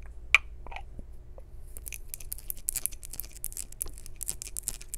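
A small, hollow, maroon glazed ceramic jar with a lid and a textured surface is tapped with long nails. A single sharp, bright tick comes first, followed by a run of quick, crisp clicking taps that fill the rest of the clip over a low, steady hum.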